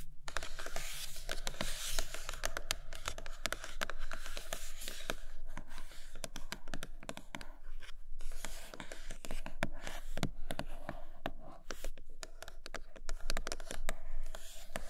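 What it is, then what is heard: Glossy cardboard box. Long nails scratch and tap across the glossy printed top of a large iPad Pro cardboard box. The result is a dense run of quick, dry taps and bright scratching strokes with almost no ring, over a steady low hum.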